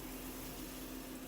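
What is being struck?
Nothing is struck.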